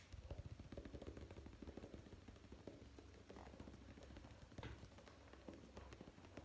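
Fingertips tap rapidly on the paper cover of the solid paperback book "Primavera con una esquina rota," which is held upright. The result is a quiet stream of quick, dull, low-pitched thuds with very short decay.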